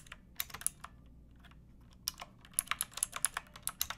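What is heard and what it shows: Long painted fingernails type on the round plastic keycaps of a pink plastic typewriter-style mechanical keyboard, producing sharp, bright clicking keystrokes. A few scattered clicks give way to a quiet pause, then a quicker, irregular run of taps with very short decay and a faint low background hum.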